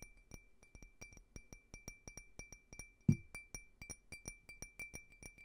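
Fingernails tap and scratch on a small, clear, empty, hollow faceted glass drinking tumbler in a steady run of quick, light clicks. Each tap gives a brief, bright glassy clink with a faint sustained tone. One heavier knock with a low thud lands near the middle.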